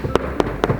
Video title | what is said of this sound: Leather care is extremely important for the life of your Peter Horobin Saddle. (English) | it's very very stiff very dry sounds like cardboard